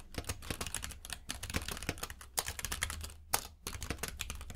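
Both hands type with their fingertips on a compact mechanical keyboard with plastic keycaps in a grey frame, lying on a purple rug. It gives a rapid, steady stream of short, bright clicky key taps over a low thud, with brief pauses near 1.2 and 3.5 seconds.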